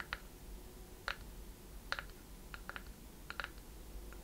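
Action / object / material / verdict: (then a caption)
tap / small wooden chest-shaped box / wood / none. Long red-painted nails tap and scratch the wooden sides and lid of a small, closed, seemingly hollow, chest-shaped wooden box with a metal clasp and corner fittings, held in both hands. About nine short, dry clicks land at an uneven pace, bright and tight around 1.4 kHz with almost no ring, over a faint low hum.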